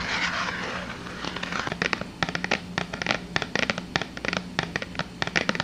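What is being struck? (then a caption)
Small cardboard box. A small, hollow white and blue printed cardboard soap box is held in both hands and tapped and scratched with long dark-painted nails. A soft, rustling scratch comes first, then a rapid, uneven run of sharp, dry, crackly taps that stop dead with no ring, over a faint low hum.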